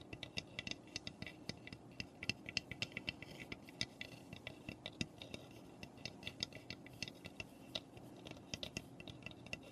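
Long nails scratch and tap across the roof and front of a small, hollow, unfinished raw pine birdhouse. Dozens of quick, dry clicks land over a soft scratching bed, each one bright and clicky around 2.7 kHz. The taps die away almost instantly, with no ring.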